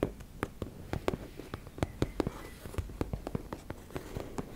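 Long nails scratch and tap on a teal embossed-fabric makeup bag, making a quick, uneven series of about twenty short, dry taps over a faint scratchy rustle. The taps are soft and mostly low, with little brightness, and each one dies away almost instantly.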